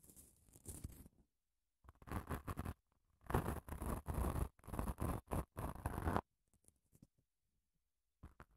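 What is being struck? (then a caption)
Padded emery nail file. Long nails scratch along a long grey padded emery nail file held diagonally close to the mic. The result is bursts of dry, rasping scratches with a low, rumbling body, separated by short silences, ending in faint ticks and a final short scrape.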